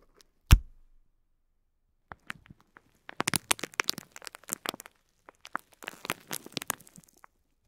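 A fingertip taps and presses along a bundle of small white plastic faux pearls wrapped in clear film. One sharp, thumping tap comes first, then sparse soft clicks, followed by dense clusters of bright, crinkly crackles and ticks as the film and beads shift under the finger.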